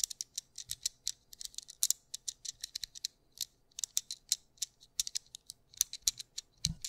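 A small white plastic anti-stress fidget cube with black dots, held in both hands, has its buttons and switches clicked and flicked by fingertips. Several dozen quick, dry, bright plastic clicks come in irregular bursts, each dying away almost instantly, with a faint low handling thump near the start and end.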